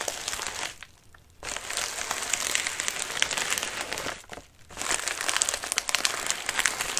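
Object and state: Padded envelope being crumpled.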